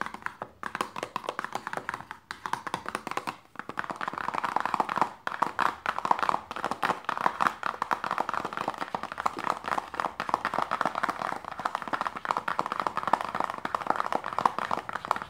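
Long nails tap rapidly on the top and end of a small, closed, hollow printed paperboard lotion box resting on fabric. The clip is a dense stream of dry, hollow clicks centered around 1 kHz with almost no ring or low end. The tapping is too quick and continuous to count.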